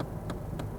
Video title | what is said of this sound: Kia Cee'd Sportswagon review - Auto Express | you can hear that's a nice dense plastic